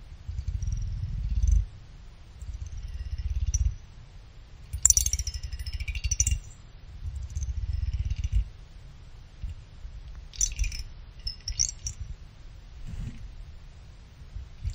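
A thin pick held in the fingers scratches and plucks the fin edges of a small finned aluminum CPU cooler heatsink, a solid block of thin fins. Bursts of low rumbling scraping alternate with bright, high metallic ticks and short rattling plucks. Each pluck dies away almost at once, with no lingering ring.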